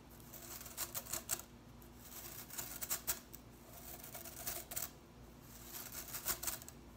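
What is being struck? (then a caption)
Plastic broom bristles. Fingers rapidly flick and strum the tips of blue plastic broom bristles held above a table. The result is quick bursts of bright, crisp ticking and rustling that come in short clusters between quieter pauses, over a faint steady low hum.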